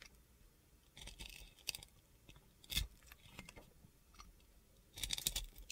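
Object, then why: Glitter-coated soap bar. A box cutter blade shaves and scrapes the glitter coating off a solid bar of soap. Short, gritty, crunchy scraping bursts come in bright, high-pitched rasps separated by quiet pauses, with a sharper scrape near the middle and a louder cluster of scrapes at the end.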